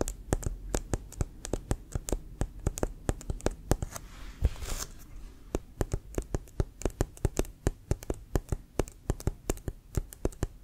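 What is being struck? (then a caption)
Inflated leather-covered football. Fingertips and short nails tap the pebbled, leather-like surface of a brown, inflated, leather-covered American football with a white stripe, held in one hand; the ball is hollow and air-filled. Dozens of quick, dry taps land in a steady stream, each a short, low, hollow thump with a faint bright click. Partway through, a brief soft scratchy rustle passes before the tapping resumes.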